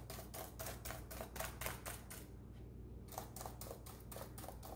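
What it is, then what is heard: Plastic laptop keyboard being tapped. Rubber-gloved fingertips press and tap the plastic keys of a black plastic laptop keyboard in a typing-like rhythm. They make quick, bright clicks at a steady pace, with a brief pause partway through, over a constant low hum.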